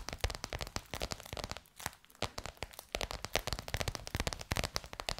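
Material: Faux leather.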